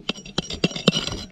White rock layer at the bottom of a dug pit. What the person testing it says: व्हाइट अब hard rock है, आपको उसकी आवाज से पता चल जाएगा